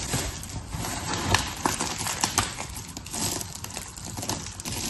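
Fingertips with long red nails crush, rub and spread a heap of small, solid, layered blue, pink and white soap chips across paper. The result is a steady, dense, bright crackling crunch, with a few sharper snaps standing out along the way.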